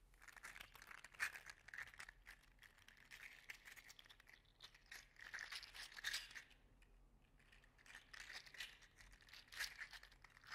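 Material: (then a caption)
Plastic. A gold-green 3D printed plastic articulated slug toy is held in the hand and squeezed and flexed with the fingertips. Its plastic segments rub and clack in soft bursts of crinkly, papery clicking that is bright and high with a steady midrange tone. The clicks are short and dry and die away almost at once.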